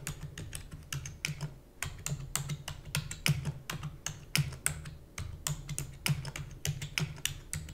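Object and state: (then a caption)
Plastic computer keyboard. Long nails and fingertips type rapidly on the keys of a black plastic computer keyboard, producing a quick, uneven stream of sharp, bright clicks and taps. Each click is short with almost no ring, over a steady low hum.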